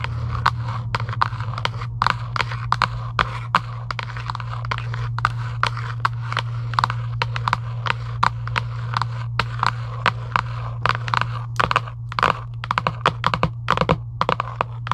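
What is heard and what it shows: Long acrylic nails scratch and tap a hollow Giant UNO cardboard game box lying flat, producing dozens of quick, sharp clicks and scratchy strokes with a papery ring centered around 1 kHz. A steady low hum runs underneath the whole time, and each tap dies away almost instantly.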